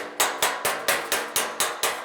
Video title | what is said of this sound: Hammer dolly | It's a sharper sound, less echoey.